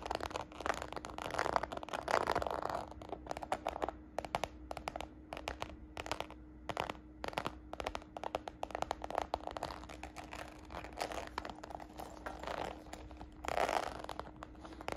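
Long nails scratch and fingertips tap the embossed surface of a small red glossy croc-embossed faux patent leather handbag. The result is quick, dry taps and scratchy scrapes that stop almost instantly, with a few denser bursts of scratching, over a faint steady hum.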